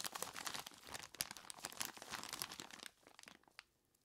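A large clear plastic bag full of ice cubes is squeezed by hands in knobbly rubber monster gloves, giving dense, bright crinkling and crunching with sharp crackles. After about three seconds the crunching thins to a few scattered crackles and fades to near silence.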